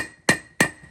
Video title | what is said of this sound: Front Wheel Bearing Replacement (Toyota 100 Series Land Cruiser & Lexus LX470) | you hear that solid sound that means it's fully driven in